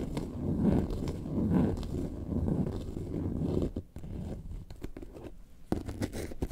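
Long nails scratch the top surface of a hollow faux leather lemonade-carton bag lying flat, near its zipper. A dense, low, rasping scrape fills the first few seconds, then drops to quieter, sparser scratches with short, sharp ticks and a brighter flurry near the end.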